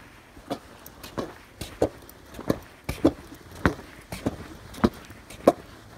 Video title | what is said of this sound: Best Cold Weather boot EVER!...Cold Feet? - "Micky" Boots. | you hear that water sloshing around they are wet